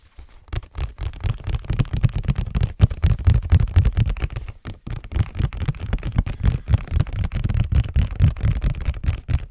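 A hollow, printed cardboard Scotties tissue box is held close to the mic and tapped and scratched with fingertips and nails. The result is a rapid, uneven stream of soft, deep, muffled thumps with very short decay, briefly pausing before it picks up again.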